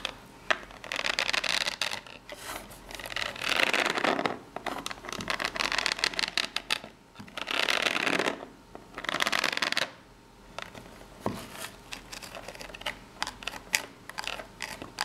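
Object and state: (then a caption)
Corrugated cardboard box. Long fingernails scratch and tap the ribs along the narrow side of a small corrugated cardboard box held in both hands. Dense bursts of bright, dry, rasping scratches alternate with quieter stretches of sharp, quick taps, with almost no low end.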